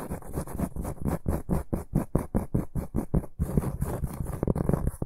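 A large, solid, round flat cork board is held in both hands and scratched with the short fingernails and fingertips of both hands. Rapid, rhythmic scratching strokes come in quick bursts with a dull, low-heavy rasp and a faint high hiss. After a brief break near the middle, the scratching continues in a denser, less even pattern.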